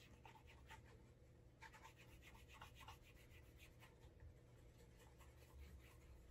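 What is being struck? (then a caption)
Leather dress shoe. A brown leather Alden Straight Tip Blucher dress shoe is held upright by hand while a cloth-wrapped fingertip rubs wax onto the heel, upper and sole edge to build a wax burnish. Soft, quiet rubbing strokes swish and scratch in steady bursts over a constant low hum.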